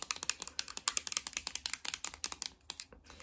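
A flat, embossed metal tin eyeshadow palette, held in hand, is rapidly tapped with long red nails. About 23 quick, bright clicks land in an uneven, keyboard-like rhythm, each one crisp and short with almost no ring or low end, and the tapping thins out and softens toward the end.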